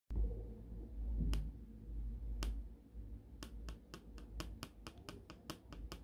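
The sharpened graphite tip of a wooden pencil taps repeatedly on a solid, flat, green gridded plastic self-healing cutting mat. A couple of widely spaced sharp clicks give way to a quicker, uneven run of taps over a steady low rumble.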